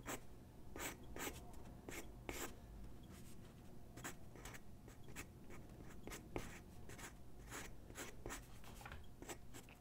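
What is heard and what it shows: A graphite pencil sketches on a single white sheet of drawing paper resting on a wooden desk, making quick scratching strokes. The short, bright, papery scrapes come in irregular bursts over a steady low background hum.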